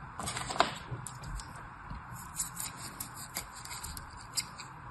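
A black knife blade slices and scrapes across the top of packed red and white kinetic sand filling a teal plastic cupcake mold held in one hand. Soft, gritty crunching and crackling scrapes come in short bursts over a low rumble, with a sharp, bright crunch near the start and a few fainter ticks later on.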